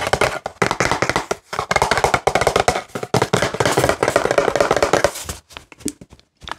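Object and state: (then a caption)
Plastic pump bottle tapped. A CeraVe plastic pump bottle is tapped with nails and fingertips on its body and pump. Rapid, dry clicking taps come in dense bursts with brief pauses, giving a hollow, mid-toned knock that dies away almost instantly. Toward the end the taps become sparse and scattered.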